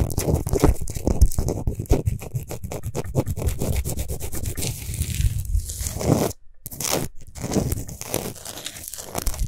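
Long nails scratch fast and aggressively across a large, lit, spherical Himalayan rock salt lamp of solid salt. The result is a dense run of rapid, dry scraping and crunching strokes, mostly low and full-bodied. A brief silent gap falls around the middle before the scratching resumes.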